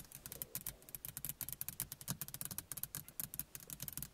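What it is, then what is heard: Plastic rearview mirror. A small, hollow car rearview mirror with a plastic housing and glass face is tapped rapidly with the fingernails of both hands. About two dozen quick, bright clicks sound, each with a short hollow low thump beneath it and almost no ring.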